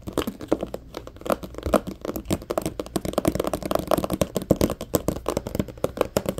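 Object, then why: Clear plastic compartment organizer box. Short nails scratch quickly across an empty, hollow, medium-sized transparent plastic compartment organizer box, close up. The result is a dense run of dry, crackly scratches and ticks, centered in the low-mids with a faint hollow plastic resonance. There is little high-end sparkle and almost no ring after each stroke.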